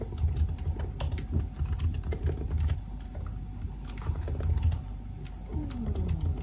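Fingertips tap steadily on the black plastic keys of a silver aluminium laptop keyboard, making a fast, continuous run of soft, dull key clicks. The taps are short and muffled, with most of their weight low, and near the end a faint falling tone passes underneath.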